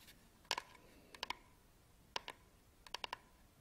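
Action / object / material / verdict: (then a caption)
tap / small hollow plastic battery charger / plastic / none. Fingertips and nails scratch and rub the textured sides of a small, hollow black plastic camera battery charger held close to the camera. It makes sharp, bright plastic clicks with a hollow tone around 950 Hz, arriving in quick pairs and triplets that stop dead with no ring. Faint rubbing sits between the clicks.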